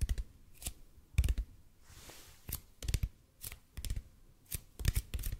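Fingertips slowly tap and scratch a large hollow red-and-white EPP bead foam roller. Irregular taps come singly and in quick clusters, each a dull low thump with a bright clicky edge that dies almost instantly. A soft, airy scratch fills the pause near the middle.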